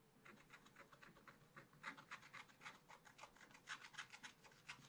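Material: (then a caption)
Coated paper. A wooden stylus scratches the coating off a black-coated scratch paper page in a small spiral pad with repeated strokes. About twenty-two short, dry, rasping scratches come at an uneven quick pace, each a bright, papery burst with almost no low end. The strokes stop abruptly with no ring, and the overall level stays quiet.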